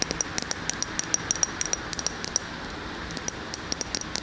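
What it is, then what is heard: Glass candle jar. A large glass candle jar filled with solid wax is held in one hand and tapped and scratched on its glass side with long fingernails. About two dozen quick, sharp clicks ring out with a high glassy ping over a steady soft scratching hiss.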